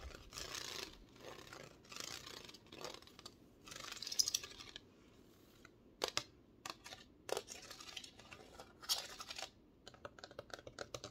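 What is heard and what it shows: Long red-painted nails scratch and tap the ribbed holographic foil surface of a thin, flat, heart-shaped cardboard Valentine gnome sign with a red bow, held in one hand. Bright, rasping scratch bursts fill the first half, then sharp, dry taps and short crinkly scrapes follow with quick, clipped decays and almost no low end.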